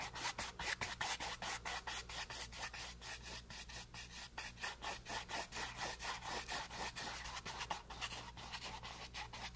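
A flat paint brush scrubs back and forth over a small, solid, flat canvas board with green paint resting on a table. Quick, bright, dry bristle strokes across the textured surface repeat a little over twice a second in an uneven rhythm. A faint steady low hum sits underneath.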